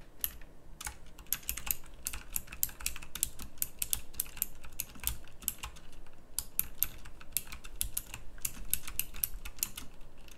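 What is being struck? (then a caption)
Plastic mechanical keyboard. A full-size pink plastic mechanical keyboard with round typewriter-style keycaps, a backlight and a hollow case is typed on quickly with fingertips. It gives a steady run of rapid, bright, clicky key presses, each short and crisp over a low background rumble.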